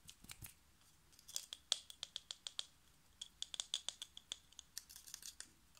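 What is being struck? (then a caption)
Compact fluorescent light bulb, glass tubes and metal base. Fingertips and short nails tap quickly on a hand-sized, hollow spiral compact fluorescent bulb, striking both its metal screw base and its white glass tubes, which sit above a plastic collar. The result is a quiet run of crisp, bright clicks and ticks with a faint glassy ping. Each tap dies away almost at once, with nearly no low end.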